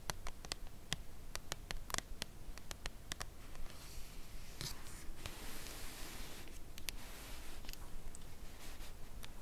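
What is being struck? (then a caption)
Cardboard chocolate bar box. Long nail tips slowly tap the face of a full red Lindor cardboard chocolate box lying flat on fabric. Each tap is a short, dry click that reaches into the high range and dies away almost at once, heard over a soft, low background hiss. The taps come quickly and are spaced evenly at first, then thin out as a broad, breathy rustle rises in the middle of the clip.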